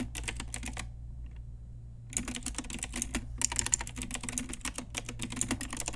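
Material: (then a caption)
Plastic. Long nails and fingertips type on an Ajazz pink retro typewriter-style mechanical keyboard with round plastic keycaps. Quick bright plastic clicks come in irregular bursts, with a short pause near the start, over a steady low hum.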